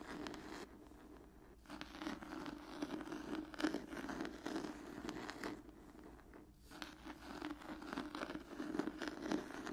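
An old cloth-bound hardcover book is scratched with long nails and then laid flat at the end. Bursts of dry, rasping scratches with a zipper-like texture are broken by quieter pauses near 1 second and again around 6 seconds. A steady low-mid tone sits beneath the scratching throughout.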